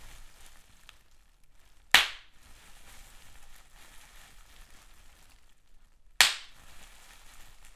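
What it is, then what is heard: Large-bubble plastic bubble wrap popping. Fingers pinch clear plastic bubble wrap with large air bubbles, popping single bubbles one at a time. Two sharp, bright pops ring out several seconds apart, each snapping sharply and fading quickly over a faint, steady hiss.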